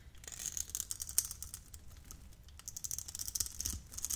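A metal utility blade scrapes tiny cubes off a hand-sized, hand-held bar of yellow translucent glycerin soap scored in a grid. The result is a quick run of dry, crisp, bright crackling clicks with almost no ring. It comes in two denser bursts with a quieter stretch between them.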